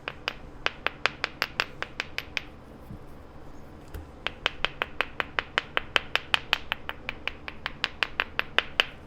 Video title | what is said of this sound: [SM] Unboxing Canadian Potatoes - Cretaceous Flint #flintknapping | It sounds solid. Again, I think this will be usable.